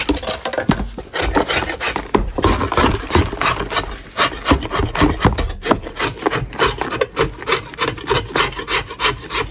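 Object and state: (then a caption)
Natural chalk block. A metal putty knife scrapes a solid natural chalk block held in one gloved hand. The result is a fast, uneven run of dry, gritty rasping strokes, about three per second, each bright and short with no ring.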